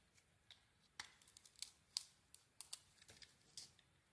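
A blade scrapes and cuts into the cream interior of a Cleopatra soap bar, making about ten short, crisp, bright scraping clicks. The strokes are quiet and dry, with almost no low end and no ringing after each cut.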